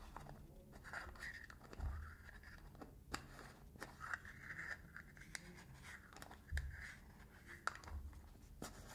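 Fingernails scratch and tap the rim of the blue metal lid and the body of a small cylindrical got2b hair wax tin, held sideways in both hands. Quiet, steady scratching with a midrange scraping tone is broken by sharp, dry taps that stop almost instantly, over a low rumble.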